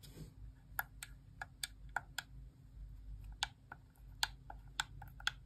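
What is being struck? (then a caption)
Plastic game controller. Long nails tap and click the face buttons of a white plastic Xbox core wireless controller held in the hand, its hollow shell giving each press a hollow plastic sound. Eleven short, sharp, bright clicks come at an uneven pace, each dying away almost instantly. A steady low hum runs underneath throughout.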